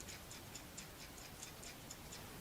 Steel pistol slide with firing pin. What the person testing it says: shake the slide so I hear a rattle